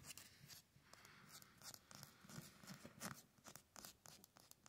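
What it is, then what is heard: Concrete block wall. Fingernails and fingertips scratch and tap quickly and irregularly on the rough face of a grey concrete cinder block wall with mortar joints, outdoors. The result is a quiet run of gritty, bright scraping bursts mixed with short, dull taps.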